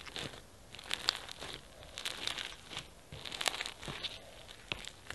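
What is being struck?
Foam bead slime (floam).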